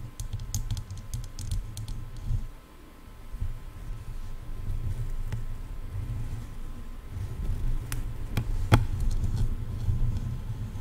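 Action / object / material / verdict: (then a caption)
tap / plastic headphone ear cups / plastic / none. Long nails tap and scratch the shells of hollow silver plastic headphone ear cups, making quick, irregular clicks over a steady low rumble. The sharp, bright ticks come in clusters near the start and again toward the end, each dying away almost at once.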